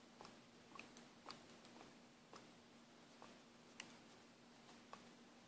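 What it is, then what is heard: Plastic paint bottle with mixing ball. An orange Taskolin plastic paint bottle is shaken by hand, and the mixing ball inside ticks against its walls in a series of short, bright, separate clicks. Each tick dies away quickly over a faint, steady low hum.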